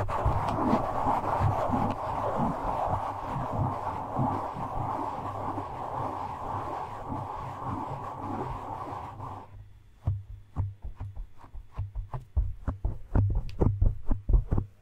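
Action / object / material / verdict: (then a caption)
scrape / foam microphone windscreen / foam / none. Fingertips of both hands stroke, scratch and pinch a black foam windscreen on a microphone. For about nine and a half seconds there is steady, dense scratchy rustling over a low, muffled rumble. It then drops to near silence broken by a quick run of short, soft, deep thumps.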